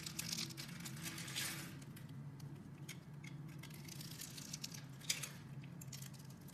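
A metal box-cutter blade carves a solid green bar of soap with a scored grid surface, so small cubes crumble off. Quiet, dry crumbly scraping and crackling comes in bright bursts with soft taps over a low steady hum, with one sharper click near the end.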